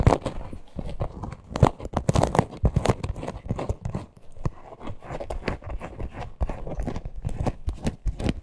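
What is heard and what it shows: Long nails scratch the front and the stitched top seam of a small, hollow teal faux-leather purse with a parrot appliqué. The sound is a dense run of quick, dry scratching strokes, each dying away almost at once. The tone is mostly low and dull, with only brief brighter edges on the sharper strokes.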